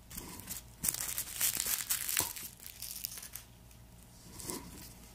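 Black-gloved hands press down on a whole, solid, hand-sized garlic bulb with papery skin on a wooden board, crushing it to break the cloves apart. Bright, dry crinkles and crunches from the papery skin crackle irregularly, with sharper snaps in the middle before the sound thins to a faint rustle and a final soft crunch.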